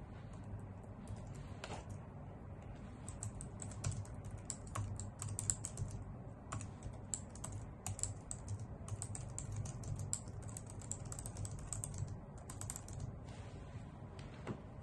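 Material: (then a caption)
Plastic. A full-size white plastic computer keyboard resting on a wooden desk is typed on steadily with fingertips and long nails. The result is a continuous stream of quick, bright key taps and clicks over a low, steady background hum.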